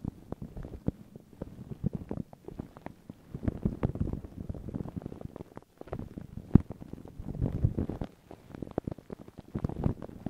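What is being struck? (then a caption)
Paper tissue over a microphone. Long pink nails and fingertips scratch and rub thin, crinkled white paper tissue stretched over a round microphone head. The result is a dense, muffled low crackle of rapid scratches and soft rubbing, with a few brief pauses and one sharper tap near the middle.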